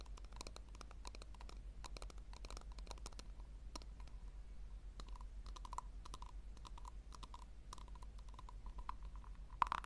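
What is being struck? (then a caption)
Small round plastic tub. Long nails tap quickly on the base and sides of a small, round, hollow pink plastic tub as it is turned in the hands. The result is a quiet stream of light, dry clicks with a hollow tone around 1 kHz over a steady low hum, ending with one sharper, louder tap.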